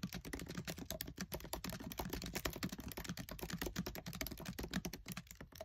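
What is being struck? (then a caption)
Plastic laptop keyboard keys. Fingertips with short nails type fast on the black plastic keys of a MacBook Air keyboard set in an aluminium body. The result is a rapid, continuous stream of short, crisp clicks and taps with a dull low thump under each press, each sound dying away almost instantly.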